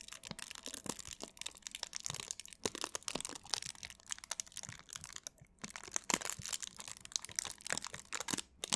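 Thin clear plastic wrap is stretched and crumpled between both hands close to the microphone while long nails and fingertips crinkle and scratch across it. The result is a dense, bright stream of sharp crackles and crisp rustling with almost no low end, each snap dying away almost instantly, with a brief quieter pause in the middle.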